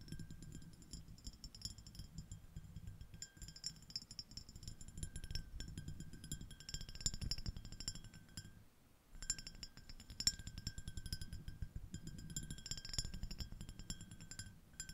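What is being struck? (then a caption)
Small ribbed glass dish. Long acrylic nail tips of one hand tap rapidly on a small, empty, clear, iridescent, ribbed glass shell-shaped dish. The taps give a quick stream of bright, high clinks with steady glassy ringing tones over a soft low thump, each one dying away almost at once. A short pause near the middle interrupts the tapping before it resumes.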